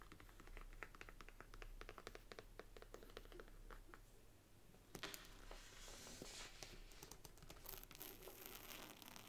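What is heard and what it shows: Long nails tap on the cover of an upright brown faux leather Bible, making a quick run of light, dry clicks over a steady low hum. About halfway through they switch to scratching the gilt paper page edges, giving a louder, brighter, continuous rasping hiss.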